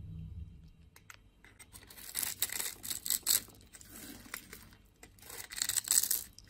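A metal blade scrapes and carves a palm-sized, solid orange-and-white striped bar of soap held in one hand, shaving off flakes. The sound is a series of dry, bright, crisp scraping and crackling strokes that swell and fade, with softer quiet stretches in between.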